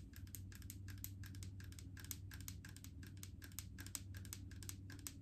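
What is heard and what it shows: Long acrylic nails tap rapidly on a large plastic jar full of solid coconut oil with a green plastic lid. The taps come as a fast, steady run of short, bright clicks that die away almost instantly, over a constant low hum.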